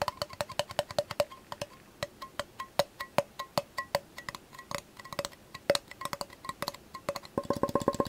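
A measuring cup is tapped rapidly in a fast, uneven rhythm, giving dry, clicky, wood-block-like taps with a hollow tone around the mid-range and short bright edges. The taps die out almost instantly. A dense flurry of quicker taps closes the clip.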